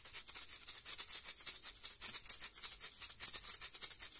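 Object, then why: Small hollow plastic toy capsule with loose contents. A small hollow orange plastic egg-shaped capsule with a visible seam, likely a surprise-egg toy capsule probably holding loose contents, is held in the fingertips and shaken quickly. It gives a quiet, rapid, uneven rattle of short, crisp clicks that sit almost entirely in the high, bright range, with virtually no low end.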